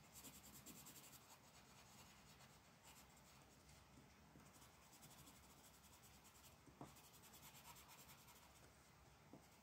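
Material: Paper.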